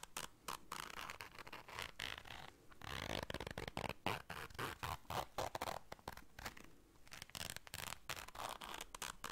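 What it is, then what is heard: Fabric zipper case. A small round black fabric zipper case is held in the hands while long dark nails zip it and scrape across it. Quiet, rapid, irregular bursts of scratchy, bright zipper rasps and fabric scrapes follow one another in quick succession, with brief pauses between strokes.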